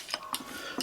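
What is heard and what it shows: Three short, bright metallic clinks come from the front steel connecting rod and bearing of a 2009 Subaru Forester engine as the rod is checked by hand. Each clink is sharp and high-pitched with almost no ring. The loose bearing is bad, the crankshaft is toast, and this play was the source of the engine knock.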